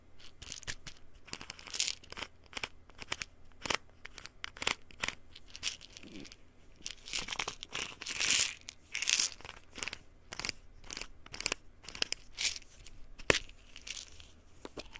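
A small white plastic pill bottle with a paper label is turned in both hands while fingertips and nails scratch and tap the label and cap. The result is a steady run of bright, crinkly scratching and sharp, dry little taps, with a few louder rasping scrapes in the middle and almost no low end.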